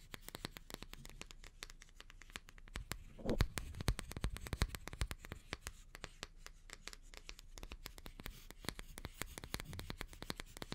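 Long painted nails scratch and stroke the stiff natural bristles of an oval, hand-sized wooden bath brush with a wooden back and a white strap, held bristles up. A dense stream of crisp, dry scratching clicks and bristly rustles plays over a low, soft rumble, growing briefly louder and fuller a little past the three-second mark before settling back to a steady, quiet scratch.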